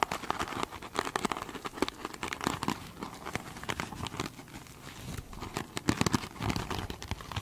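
Long holographic nails scratch the glitter mesh surface of a foam sponge up close. The sound is a dense run of quick, crinkly scratches and rasps with bright, crackling texture, each stroke dying away at once. It has an uneven rhythm, eases into a quieter stretch midway, then picks up again.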